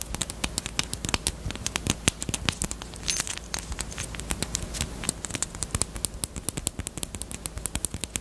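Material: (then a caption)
Plastic. A small, closed, hollow pink hard-plastic Peep bunny-shaped chapstick case is tapped and scratched with long nails. The result is a rapid, uneven run of sharp, dry clicks with bright tops and almost no ring, mixed with faint scratching over a low steady hum.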